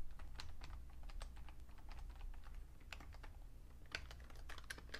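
Fingertips type on the keys and numpad of a vintage beige plastic full-size Fujitsu Siemens keyboard with a hollow case. Quick, light, bright clicks and taps come in a continuous stream over a steady low hum.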